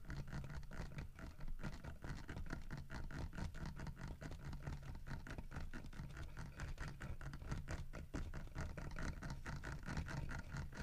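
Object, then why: Carved wooden bear figurine. Fingertips tap and scratch across the carved back and side of a large, solid carved wooden bear figurine with a painted fish. A dense run of quick, dull, low taps mixes with soft scratching, each tap dying away fast with little ring.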